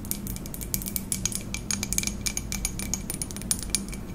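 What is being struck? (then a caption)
Ceramic coffee mug. Long acrylic nails tap rapidly on the outer wall of a hollow white ceramic coffee mug held in both hands. The taps are quick, bright clicks with a brief ringing tone that fades fast, over a steady low hum.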